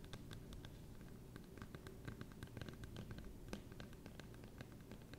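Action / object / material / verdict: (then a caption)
scrape / thin clear plastic phone case / plastic / none. A thin, hollow, transparent plastic phone case printed with pink bows is held in both hands and tapped and scratched with long nails. Quick, light clicking taps and scratchy strokes come in an irregular stream over a quiet, low hum, each tap dying away almost instantly.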